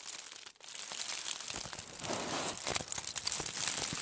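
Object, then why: Aluminium foil bundle. A crumpled, hollow bundle of aluminium foil is scratched and squeezed with long nails and fingers. It makes dense, bright crinkling and crackling that drops out briefly near the start, then continues steadily, with sharper crunches standing out toward the end.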